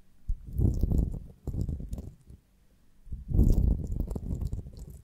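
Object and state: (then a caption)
Beeswax honeycomb on a branch. Long nails tap and scratch the cells of a beeswax honeycomb on a branch, with the wooden stick held in both hands. Two bursts of dense, soft, low crackling and squishy tapping are heard, separated by a brief quiet pause.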